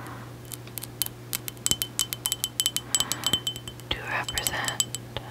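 A small, hollow, apparently empty white mug with an embossed hexagon pattern, possibly ceramic or milk glass, is held in one hand and tapped and scratched with long acrylic nails. A rapid run of bright, short clinks rings at about 3 kHz, broken near the end by a brief rasping scratch, over a faint steady low hum.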